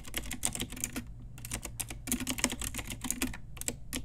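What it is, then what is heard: Plastic mechanical keyboard. Rapid typing with fingertips and long nails on a pink Ajazz retro typewriter-style mechanical keyboard with round plastic keycaps. The result is a dense, fast run of sharp, bright plastic clicks with short low thumps underneath, each keystroke dying away almost instantly.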